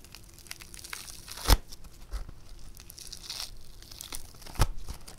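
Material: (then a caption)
Foam clay. A soft, hand-sized lump of pink, bead-textured foam clay (floam) is stretched and torn apart by fingers. Quiet, steady crackling and fine tearing carry under the action, broken by two sharper, louder snaps with a bright edge as the clay pulls apart.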